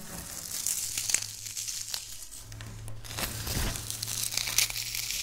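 Dry wafer biscuit crumbs are rubbed, pinched and crushed with fingertips and long nails on a stone surface. The result is a bright, crackly crinkling and crunching texture of many quick, close-packed grains over a faint low hum.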